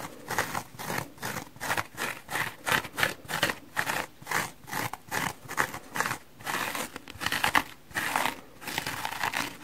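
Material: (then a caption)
Foam. Manicured fingernails scratch across the coloured surface of a hand-sized, soft, solid, rainbow-striped (red, yellow and blue) dry porous foam kitchen sponge held in one hand. A steady run of short, rhythmic, dry scratching strokes gives a crinkly, rasping texture that is bright and airy with little low end. Each stroke rises and falls quickly with almost no ring.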